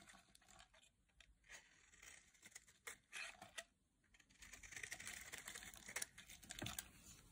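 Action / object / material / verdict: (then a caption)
scrape / bar of soap cut with a metal blade / soap / none. A palm-sized, solid bright green bar of dry soap is carved with a metal blade into crisp flakes. Short, dry, bright scraping and cutting strokes crackle with little low end, sparse at first and then denser and louder toward the end.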